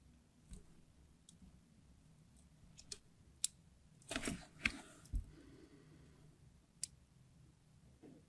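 A craft knife tip scratches and scores a diagonal grid into the surface of a solid red translucent glycerin soap bar held in the palm. The sound is quiet: sharp, bright clicks and scrapes rise over a low background hum, with a denser scratching burst in the middle.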